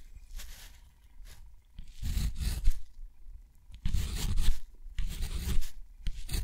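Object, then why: Metal pen nib on thick cotton paper. A metal dip pen nib scratches across a sheet of thick textured cotton watercolor paper lying flat as letters are written. The result is a series of dry, gritty scraping strokes, separated by short pauses, with bright rasp and a low rumble underneath.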